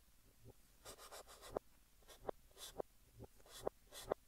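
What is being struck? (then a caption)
Chalk stick on a chalkboard. Fingertips hold a blue chalk stick and write text across a large, flat green chalkboard, making quiet, bright scratching strokes. Six sharp chalk clicks stand out between the strokes.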